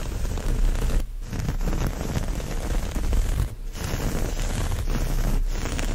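Fingertips and nails scratch and rub across the surface of a brown, textured cotton terry-cloth towel with a chevron pattern lying flat. The result is a continuous, low, rumbling scratching with a few brief dips where the rubbing pauses.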